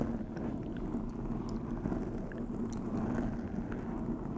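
Long acrylic nails on both hands scratch across a soft, porous black foam windscreen on a white USB microphone. The result is a steady, dense, muffled rustling and crackling with heavy low rumble and a faint hum near 230 Hz. The sound holds at an even level throughout, with no clear separate strokes.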